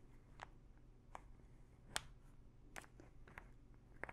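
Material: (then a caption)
Plastic. A small plastic pill bottle full of pills has its teal cap scratched and tapped with long nails. Sharp, bright clicks and taps stand out over a quiet, low background, with a faint rattle of pills under the scratching.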